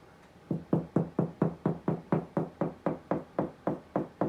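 A finger knocks 17 times in a steady rhythm on a drywall ceiling, producing short, dull, low thuds centered around 164 Hz that die away almost at once. The solid sound marks a spot over a wood stud, not where the stud finder indicated, and cutting there confirms the stud.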